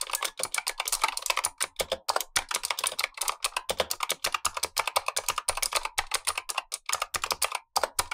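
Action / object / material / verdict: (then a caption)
tap / plastic mechanical keyboard with clicky switches / plastic / none. Blue-gloved fingertips type rapidly on a Razer Huntsman V2, a full-size black plastic keyboard with clicky optical switches, the lower of two keyboards while the upper one stays untouched. Each keystroke is a sharp, bright click with almost no low end. The clicks die away almost instantly, giving a steady, crisp clatter.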